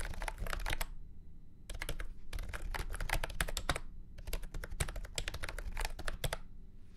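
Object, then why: Plastic keyboard with round keycaps. A full-size beige and orange plastic retro keyboard with round keycaps and a hollow body, resting on a felt mat, is typed on with fingertips. Bursts of quick, sharp, clacky keystrokes with a very short decay are broken by brief pauses near 1 and 4 seconds. A steady low hum sits underneath throughout.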